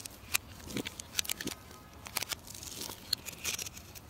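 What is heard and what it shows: A solid, rounded orange bar of soap, held in the hand, is scraped and carved with a metal knife into fine shavings. The clip is a quiet run of bright, crisp scraping and crackling ticks with irregular sharp snaps, mostly high-pitched with little low end.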